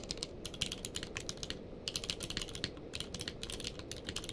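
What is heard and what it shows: A full-size plastic mechanical keyboard with a blue-grey case and white and grey plastic keycaps, lying on a blanket, is typed on rapidly with the fingertips of both hands. Quick, bright key clicks come in dense bursts over a low, steady rumble, with a brief pause partway through.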